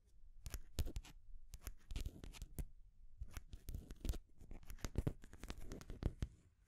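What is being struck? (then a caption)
Wooden stacking ring toy. Long grey nails scratch down the painted wooden rings of a full ring stack on a wooden base. The result is a rapid run of dry, bright scratches and sharp clicks over a soft low thud, with quiet pauses between the bursts.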